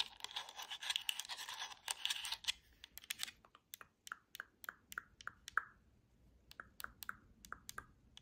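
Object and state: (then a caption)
Plastic game controller. Long nails tap and scratch across the face, buttons and d-pad of a black hollow plastic Xbox controller held close. The first couple of seconds are a dense, bright flurry of rapid clicks and scratches. Then come spaced, sharp plastic taps, each with a brief hollow ring near 1.3 kHz.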